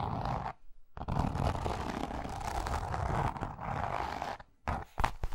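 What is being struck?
Grained leather zip wallet.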